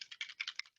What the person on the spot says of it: a little ball on there so you can hear that you shake it up